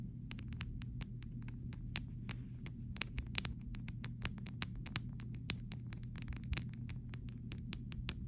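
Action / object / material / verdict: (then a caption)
tap / clear plastic phone case / plastic / none. A pink fingernail taps and scratches along the side rail of a clear plastic phone case whose edge rests on fabric, making a rapid, irregular run of short, bright plastic clicks and ticks. The clicks die away almost instantly over a steady low hum.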